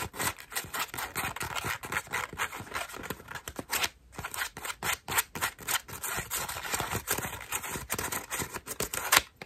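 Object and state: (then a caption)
Foam bath loofah being scratched. Long nails scratch and pluck the petals of a cream foam bath loofah. The result is a steady stream of rapid, dry, crackly scratches and soft plucks, bright and airy with almost no low end. Each sound dies away almost instantly, with a few sharper pops standing out near the end.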